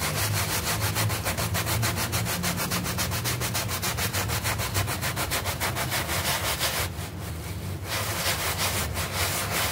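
A small, flat, green artificial-grass doormat with a red leaf emblem, lying on the floor and wet with soap foam, is scrubbed with a stiff-bristle hand brush with an orange handle. Rapid, steady back-and-forth strokes make a bright, rasping scrub over a low rumble, easing briefly near the end before picking up again.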